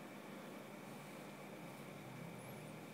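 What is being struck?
Nothing is struck.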